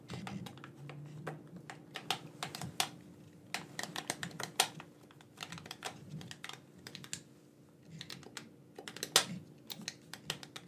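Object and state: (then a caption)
Plastic game controller buttons clicking. Fingertips click the buttons and triggers of a black, wired, hand-sized hollow plastic gamepad held in both hands. The clicks are sharp, bright and irregular, some in quick bursts and others spaced apart, over a faint steady low hum.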